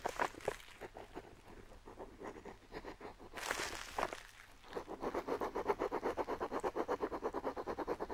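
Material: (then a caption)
Paper. A metal dip pen nib scratches along a map's coastline on a flat, aged-look parchment-style paper sheet while the other hand steadies the sheet, with an ink pot sitting still nearby. Soft, uneven scratchy strokes give way to a longer, brighter swipe near the middle. Then comes a quicker, steady run of short rhythmic scratches until the end.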